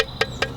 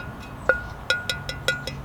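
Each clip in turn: First: Three quick taps, each a brief dull thud that dies at once: a cracked clay pot. Second: Seven light taps on a fired clay pot, each with a clear bright ring near 1.4 kHz: sound and uncracked.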